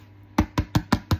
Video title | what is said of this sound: How to make Pistachio Butter and Creamer | tap on the bottom and see if you can hear it that it's hollow. Then you know that it's ready.